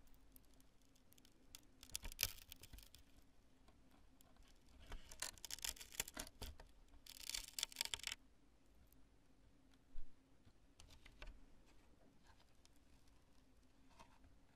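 Long nails tap and scratch the lobes of a cured polyurethane spray foam chunk, making quiet dry taps and scratchy rustles. Bright, crackly scraping bursts build in the middle, followed by a single sharper tap and a few soft scratches over a faint low hum.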